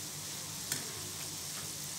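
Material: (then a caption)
Gram flour. Gram-flour boondi for a snack mixture is stirred in hot oil, giving a steady bright sizzle with a light rattling crackle and one sharper clink near the middle. The crisp rattle shows the boondi is fried crispy and done, ready to be taken out.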